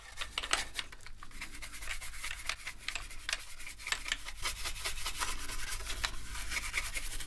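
A toothbrush scrubs across the plastic keys of a black plastic gaming keyboard. The result is a steady, dry scratchy rubbing, with bright bristle strokes over a low constant hum.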